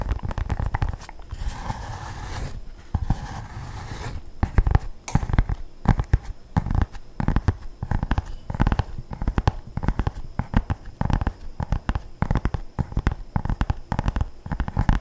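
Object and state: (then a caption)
Paperback book cover tapped and scratched. A medium-size paperback book with a glossy orange printed card cover, solid and held upright in both hands close to the microphone, is tapped and scratched with fingertips and nails. Rapid, dry, low-heavy taps with almost no ring come in quick, uneven bursts, broken early on by a short stretch of brushy scratching across the cover.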